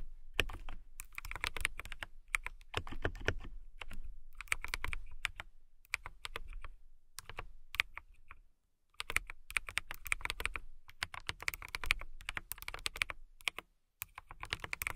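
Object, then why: Acrylic mechanical keyboard. Long nails and fingertips type on a compact transparent acrylic mechanical keyboard with clear plastic keycaps and a clear case. Rapid bursts of crisp, bright clacks ride over a soft low thud, broken by short pauses. There is a near-silent gap around 8.5 seconds and a brief lull near 14 seconds before the typing resumes.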